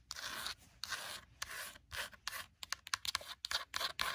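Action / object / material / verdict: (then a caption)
scrape / paper-covered hardcover notebook / paper / none. Long burgundy nails scratch and tap the page block edges and cover of a paper-covered hardcover notebook. A few long, bright, hissy scratching strokes give way to a faster run of short, dry scratches and taps with almost no low end and no ring.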